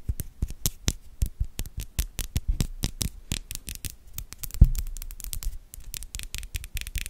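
Long yellow acrylic nails scratch and tap the top of the hollow metal mesh grille on the metal body of a white Blue Yeti-style USB microphone. A rapid, uneven stream of short, dry taps is heard, each a deep, dull thump with a bright, crisp tick. One louder knock lands partway through before the tapping continues.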